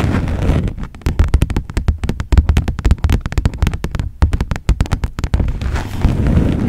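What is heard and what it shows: Long nails on both hands tap and scratch a thin red textured plastic folder held up in front of a camera. Scratchy rubbing at the start and end frames a middle stretch of rapid, dry taps, each dying away at once. The sound is dull and weighted heavily toward the low end, with little high brightness.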